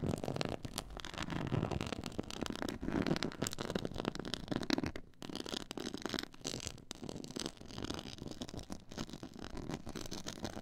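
Long nails scratch across a black pyramid-textured faux leather board, producing a dense, continuous rasping and crackling scrape. The scratching runs steadily with brief pauses near the middle and later on, its gritty texture spanning low rumble up to bright, crisp highs.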